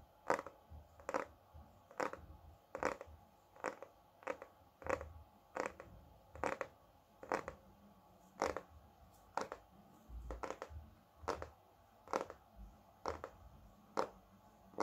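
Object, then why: Hardcover book with glossy cardboard cover. Fingertips and nails tap the glossy cardboard cover of a large, solid hardcover recipe book held upright. The result is a series of soft, short, dry taps with a hollow mid-range tone around 540 Hz, falling into uneven clusters at a loose pace.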